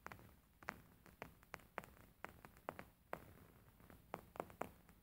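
Fingernails tap and scratch the top surface of a beige embroidered linen pillow with stitched fabric. Quiet, sharp, short taps with a mid-range crack come in an irregular run, over a soft, steady scratchy rustle.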